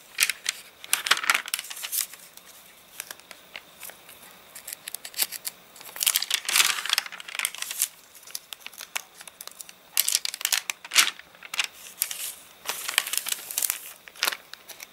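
An open paper catalogue, its wavy pages dried out after getting rained on, has a page turned over and then a palm rubbed flat across the crinkly sheet. Bright, dry crackling and crinkling come in dense bursts with quieter rustling between them, and there is almost no low end.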